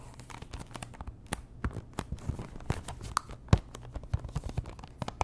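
Long nails scratch and tap the faces and edges of a small, hollow pink Chanel cardboard perfume box, likely still in its cellophane wrap. Rapid, dry clicks and crinkly scratches mix with soft, low thumps, and each sound dies away almost instantly.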